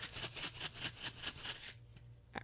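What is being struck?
Paper shaker card with loose filling.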